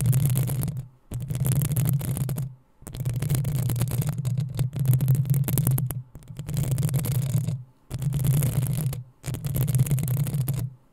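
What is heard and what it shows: Long acrylic nails of both hands scratch the hollow metal mesh head of a black desktop USB microphone in repeated bursts separated by short silent pauses. Each burst is a dense, rough scratching that swells into a heavy low rumble around 125 Hz, with a thin bright hiss riding on top.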